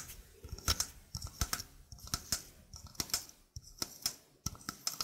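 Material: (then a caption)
Stainless steel. A small, hollow stainless steel mesh sink strainer, held in both hands, is tapped and scratched with fingernails. This gives a quick, uneven series of sharp, bright metallic ticks with soft scratchy rasps between them. Each tick dies away almost at once, with only a faint, high tinny ring.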